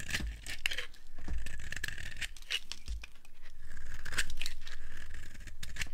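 A metal knife blade scrapes and shaves the surface of a hand-sized solid block of dry green soap held in the palm, with soap shavings piled nearby. The carving and scratching produce a steady run of crunchy, crumbly cuts with bright scraping rasps over a soft low rumble.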